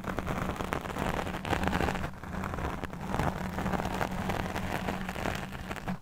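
A black fuzzy foam microphone windscreen is scratched with long nails from both hands on either side. The result is a dense, continuous rustling and scratching with a heavy low rumble and a steady hum near 190 Hz. A brief dip around the two-second mark breaks it before it continues.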